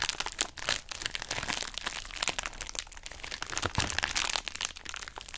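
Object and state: Plastic bubble wrap pouch crinkling.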